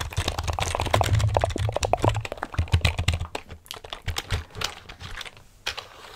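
Fingertips with nails type and tap the keys of a full-size black plastic computer keyboard held close to the mic. There is a dense run of short clicks over a deep, thumping low end, loudest in the first three seconds. It then thins to sparser, quieter taps with brief pauses before a final few clicks.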